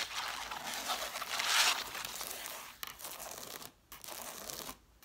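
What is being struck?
Cloth-bound hardcover books.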